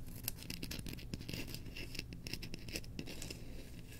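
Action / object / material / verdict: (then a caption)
scrape / bamboo slotted spoon handle / bamboo / none. Long nails scratch the handle of a solid, engraved bamboo slotted spoon that is held up. The result is a rapid, dry scratching with bright, high ticks over a steady low rumble.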